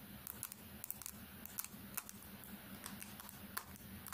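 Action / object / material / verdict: tap / smartphone with glass screen / glass / none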